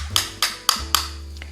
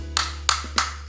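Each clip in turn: First: hollow-sounding imitation phone charger. Second: genuine phone charger, solid and tight.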